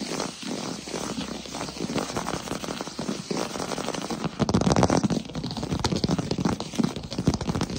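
Fingertips and short nails tap fast on a solid wood-look plank floor. Rapid, irregular dry taps and light clicks run throughout, each dying away almost instantly, with a soft low thud under a scratchy top. The tapping grows louder and heavier from about halfway through.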